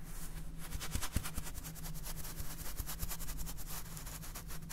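A clear plastic salt jar full of salt with a red plastic cap is rubbed and scratched with fingernails while being turned in the hands. Quick, rhythmic, bright scratching strokes sit over a steady low rumble and hum, with a few soft thuds as the jar is handled.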